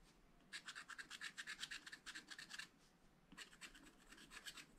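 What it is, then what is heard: Wax-coated scratch-art paper being scratched. A wooden stylus scratches details into a black, wax-coated scratch-art page in a small spiral-bound pad of thin, flat paper. Quick, bright, dry scratching strokes come in a steady run, pause briefly, then resume a little softer.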